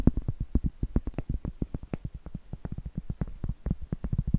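Medium acrylic nails tap and scratch on a round, flat, solid cork trivet board. The sound is a fast, uneven run of soft, dull, low-pitched knocks with almost no ring, with faint scratchy texture between them and no bright content.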